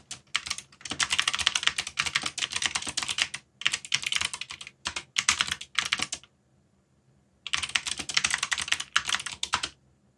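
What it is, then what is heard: Mechanical keyboard with plastic keycaps. Fingertips type fast on a backlit mechanical keyboard with black plastic keycaps, producing dense bursts of bright, crisp clicks with almost no low end and very short decay. The typing comes in runs separated by brief pauses, with a longer silence of about a second near the middle before a final burst.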